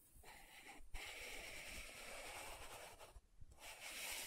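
Long nails scratch the dark purple lid of a small round plastic loose powder jar with a clear body. The result is a steady, bright, raspy scratching, broken by a brief gap near the start and a longer pause about three-quarters of the way through before it resumes.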